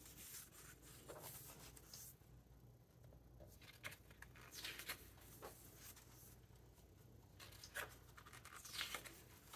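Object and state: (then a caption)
Paper book pages being stroked and turned. Fingertips stroke and turn the glossy paper pages of a large open hardcover book. Soft, bright papery swishes and rustles rise and fall over a quiet, steady low hum, with a few sharper page flicks standing out.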